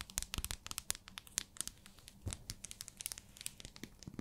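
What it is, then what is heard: Plastic-wrapped soap bar. Long nails tap and scratch a small, solid pink translucent glycerin soap bar wrapped in clear plastic, making rapid, sharp clicks with crinkling. Each tap is quick and dry with almost no ring, sounding bright and crisp over a faint low rumble.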